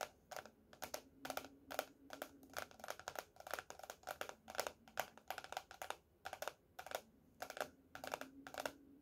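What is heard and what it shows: Fingernails of both hands tap rapidly on the laminated cardboard cover of a closed teal hardcover paper notebook lying flat on a table. The quick, quiet taps come in uneven bursts, each a dry, bright click that dies away almost instantly, over a faint low steady hum.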